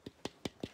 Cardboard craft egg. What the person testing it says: it sounds Hollow I know it's it's hollow inside but it's cardboard